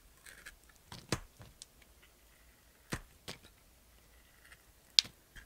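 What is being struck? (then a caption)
Bar of soap. A knife blade shaves thin slices off a small solid bar of white and pink soap held in a hand with long nails. Crisp, high-pitched scraping crunches sound in short separate bursts against near silence, with the sharpest snap near the end.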